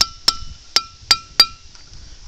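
A boulder is struck with a hammer five times, each blow giving a sharp, bright metallic clink with a steady high ringing tone that carries on briefly after the hit. This is a ringing rock: the boulder rings when hit instead of giving a dull knock.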